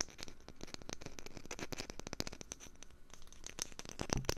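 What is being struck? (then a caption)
Wooden lid. A wooden lid is tapped with rapid, dense, dry taps. Each tap is short and clicky with almost no ring, bright on top with a low knock underneath. The pattern is a steady, quiet patter throughout.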